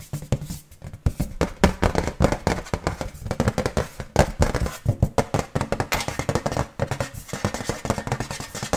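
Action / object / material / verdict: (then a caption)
tap / iron decoration / iron / none. An iron decoration is tapped quickly and repeatedly with fingers, giving a fast run of short, dull metallic knocks that die away almost at once. The sound is mostly low and thuddy, with little bright ring.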